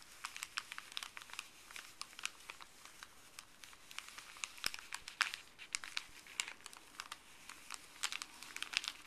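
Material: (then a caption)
Paper. Fuzzy gloved fingertips scratch and crinkle a small folded stack of thin paper from a paper pharmacy bag. The sound is a quiet, steady run of dense, bright crackles and sharp crinkling snaps with almost no low end, each one dying away almost instantly.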